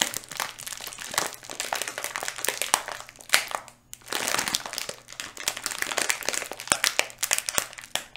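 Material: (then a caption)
Plastic. Fingers crinkle and squeeze a small, full, yellow flexible plastic Skittles candy bag held in both hands near the mic. The result is dense, bright, crackly crinkling with sharp snaps, a brief quiet pause just before the 4-second mark, and then another burst of crinkling.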